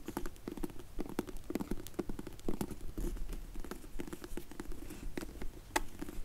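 Long nails tap and scratch on a closed, dark grey faux leather hard sunglasses case for Zinff sunglasses, held in both hands. The result is a quiet, irregular patter of soft, dull taps with short, dry scratchy strokes between them. Each tap dies away almost immediately.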